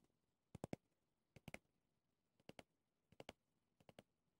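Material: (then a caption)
Plastic, pumice. Fingernails tap and scratch a small pumice stone brush with a clear plastic body, working over the pumice disc and the plastic rim. The result is five quick bursts of two or three sharp, dry clicks each, with bright, very short transients and near-silence between them.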